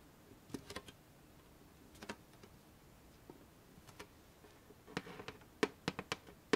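A flat, rectangular, hollow black-and-gold metal After Eight chocolate tin, held upright, is tapped with long painted fingernails. About 15 short, dry, irregularly spaced clicks with a faint metallic ring around 430 Hz start soft and grow louder and brighter toward the end.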